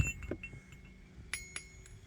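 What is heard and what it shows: A wrought iron Peter Wright anvil, identified by its faint stamped lettering, is tapped with a hammer for comparison with another anvil. A series of light taps gives short, bright metallic rings over a low background rumble. The anvil rings clearly.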